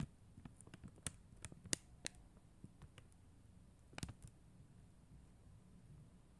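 Long acrylic nails tap and click on a flat sheet of plastic acrylic rhinestone stickers on white backing. Light, sharp, bright clicks come in an irregular scattered pattern, each dying away instantly, with quiet pauses between them and a long quiet stretch at the end.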